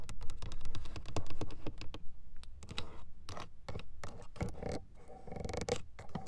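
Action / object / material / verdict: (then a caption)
tap / hard plastic car door window switch panel / plastic / none. Long acrylic nails tap and scratch across the hollow switches and mirror knob of a hard plastic window switch panel on a car door. Quick, dry, irregular clicks come first in a dense flurry, then give way to slower bursts of scratching and scraping, with a low body thud under each tap.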